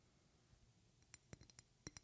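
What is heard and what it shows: Long painted fingernails tap a medium rectangular glass perfume bottle with a flower decoration and silver cap, held close to the mic. After about a second of quiet low hiss, eight short, bright clicking taps ring out with high glassy tones and almost no decay.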